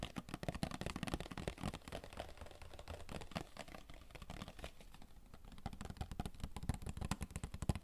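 Fingertips tap rapidly and continuously on a hollow, rectangular cardboard Royale tissue box held up close. The quick, dry taps sound soft and hollow, with mostly low, thumpy tone and very short ring, blending into a steady, fast patter with a slight lull mid-way before picking up again.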